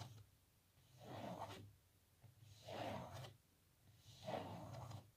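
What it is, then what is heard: Glossy photo block scratched with fingernails. Long natural nails scratch across the glossy printed face of a small, thick, solid rectangular photo block held upright, a glossy laminated print possibly over wood or MDF. Three separate rasping strokes swell up and fade at a slow, uneven pace, each a breathy scrape centred in the mids with a faint bright hiss on top. A steady low hum runs underneath throughout.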